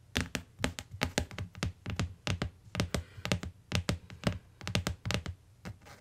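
Long nails and fingertips tap quickly on the cardboard cover and edge of a closed, solid tan hardcover book lying on a fur rug. Each tap is a soft, dull thunk, topped with a bright, crisp click from the nails. The taps stop short with no ring, in an uneven, rhythmic run.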